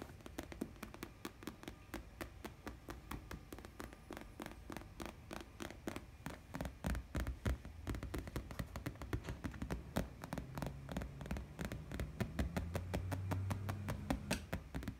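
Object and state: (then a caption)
Faux leather chair. Fingertips and painted nails tap and scratch the white padded faux leather seat and back of a chair with piping seams. Rapid, irregular dry taps, about four per second, mix with soft scratching over a steady low hum. The taps grow somewhat louder toward the end.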